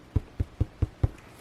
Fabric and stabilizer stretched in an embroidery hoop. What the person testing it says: if you tap it and it sounds like a drum, then that means that it is tight enough